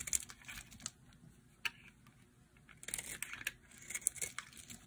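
A metal blade scrapes and carves the surface of a hand-sized, dry, blue solid bar of soap, and the curls fall onto a pile. Quiet, bright, crisp scraping and crackling come in short bursts with sharp clicks, separated by near-silent pauses.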